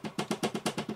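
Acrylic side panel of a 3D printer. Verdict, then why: Loose. Knocking on the loose left acrylic side panel of a Creality K1 3D printer makes eight quick, hollow knocks with a low tone near 220 Hz and a short, rattly buzz after each. The panel rattles, which is not what should happen on a 3D printer.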